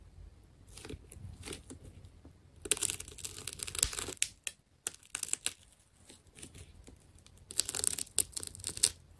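A small metal blade cuts and scrapes through the layers of a white tape ball with black layered rings, made of solid wound plastic tape. Bright, crackling tearing and crinkling scrapes come in quick bursts. The bursts swell louder and denser around the third to fourth second and again near the end.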